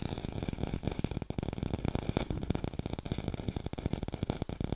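Fast tapping on an artificial pear, recorded in high fidelity. A quick, steady stream of short, dull taps with a warm low-end thump and almost no ring after each hit.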